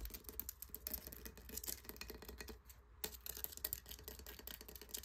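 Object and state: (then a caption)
Encrusted conch shell. Fingertips and nails tap and scratch the bumpy top of a large, hollow, crusted conch shell. The result is a quiet, rapid run of dry, clicky taps and bright, gritty scratching over a low, steady hum, with a brief lull just before three seconds before the tapping resumes.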